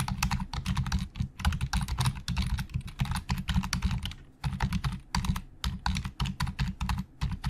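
Fingertips of both hands type fast on a black plastic Logitech full-size keyboard with hollow plastic keys resting on a desk. A dense stream of short clacks with a low, hollow thud under bright key clicks runs throughout, pausing briefly just past the four-second mark before the rapid typing resumes.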